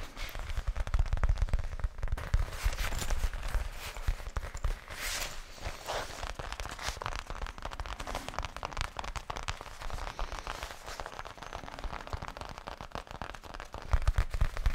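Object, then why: Faux leather zippered case. A thin, flat black faux leather zippered case is held close and tapped and scratched across its face and edges with fingertips. Dense, irregular crackling taps and rough scratches run throughout, with soft low thumps underneath that are heavier near the start and end.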